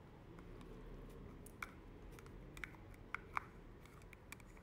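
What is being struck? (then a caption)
Plastic spray bottle. Long manicured nails tap and scratch a hollow, hand-sized white plastic thermal water spray bottle. Quiet, dry scratching runs under a low, steady background hum, broken by a few sharp, bright clicks centred around 1.1 kHz that stop almost instantly.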